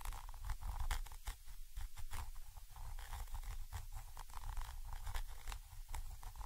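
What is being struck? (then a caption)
Metal microphone capsule with mesh grille. A thin orange stick scratches from above across a Zoom H5 XY microphone capsule, a small chrome metal body with mesh grilles. It makes continuous close scratching and crackling with dense low rumble, plus quick bright, papery rasps that come and go throughout.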